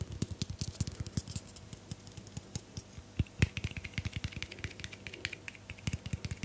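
A tall teal Moroccanoil aluminium aerosol hairspray can with a white plastic cap and a hollow metal body is held in one hand and tapped and scratched with long painted nails on its body and cap. The result is a quick, steady run of dry, clicky taps, each with a dull low knock and a bright tick that stop almost instantly, mixed with faint scratching between them.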